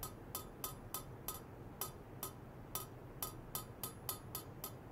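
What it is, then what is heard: Stainless steel pipe. A long, polished stainless steel pipe about 4 cm across, resting on white foam-net sleeves, is tapped rapidly from below with a thin metal rod. Fourteen short, bright metallic clinks are heard, each with a high ringing tone that dies away within about a tenth of a second. A low, steady background rumble runs beneath the taps.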